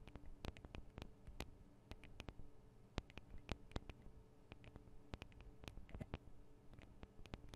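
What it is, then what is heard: Recorder microphone capsules tapped with fingernails. The metal and plastic microphone capsules of a Tascam DR-40 recorder are tapped rapidly with the tips of long acrylic nails from both hands. The result is a quiet, irregular stream of sharp, dry clicks and ticks that die away almost instantly, over a steady low hum.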